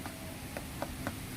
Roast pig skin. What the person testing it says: Yan ang masarap na lechon. Tunog ng masarap na lechon